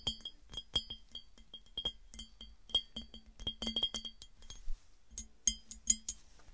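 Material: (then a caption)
Glass. A hollow, empty clear glass piggy bank held on a table is tapped and clinked with long nails and fingertips. An irregular run of quick, bright glassy clinks and taps sounds, each with a short ringing tone and a softer low knock beneath it. The sharpest clinks come near the end.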